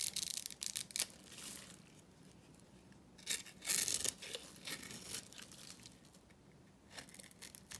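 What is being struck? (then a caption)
Bar soap scraped with a small metal blade. A small metal blade scrapes cubes off a dry, solid pink Korean bar soap that has been scored into a grid. The scraping makes bright, dry, crumbly rasps with almost no low end, in uneven bursts: loud at the start, loudest around three to four seconds, then quieter scratching in between.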